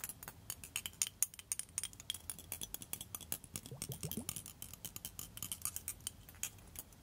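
A small blue liquid-filled glass facial cooling globe with a clear glass handle is held up and tapped with long metal-tipped nail extensions. The result is a rapid, uneven series of bright, glassy clinks and ticks, each dying away almost at once, over a faint low background.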